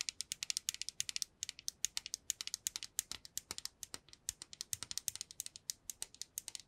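A small transparent plastic cube box holding small pink pieces is tapped with long nails and shaken, making the loose contents rattle. About 53 quick, dry, bright clicks follow one another in an uneven stream, each dying away almost instantly with almost no low end.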